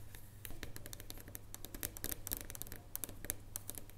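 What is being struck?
Dark chocolate bar.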